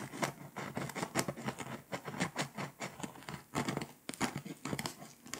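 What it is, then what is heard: Foil-coated scratch-off map being scraped. A pink scraper rubs and scratches the foil coating of a flat, foil-coated paper scratch-off map. Quick, dry scraping strokes come in rapid bursts with bright, crackly texture and a faint low body. Each stroke ends almost at once, leaving a steady patter of scratching.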